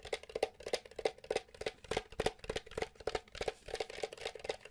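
Fingertips and nails tap quickly on the top and vented back of a small, hollow, grey plastic SNES Mini console held in one hand. The rapid, uneven taps are short, dry clicks with a hollow mid-pitched tone and bright ticks, and no ring after each tap.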